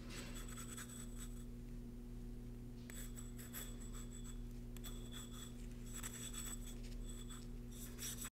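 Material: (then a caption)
Concrete. A thin paintbrush rubs sealant over the inner wall of a small, empty, hollow cylindrical cast concrete candle cup, which is held in a gloved hand and turned. Soft, dry scratching strokes come in bursts with a faint high, bright whistle-like tone. A steady low hum runs underneath throughout.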